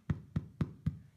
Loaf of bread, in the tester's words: if you turn it upside down then you can tap it you can hear it's a slight hollow sound so that's our bread now finished